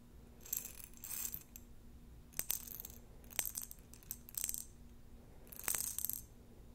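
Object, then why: Glass jar with plastic beads. Plastic beads in a glass jar are shaken and handled in short, separated bursts, producing bright, high-pitched rattling and clinking. Sharp clicks stand out between the bursts over a faint, steady low hum.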